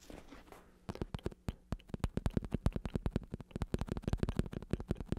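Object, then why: Vinyl-covered foam bicycle saddle. Fingertips scratch and then tap rapidly on the padded top of a black vinyl-covered bicycle saddle with a red stripe, built from vinyl over foam on a plastic shell with a hollow underside. A brief soft scratching opens the clip, followed by a quick run of about 26 dull, muffled taps. The taps are mostly low thuds that die away almost instantly.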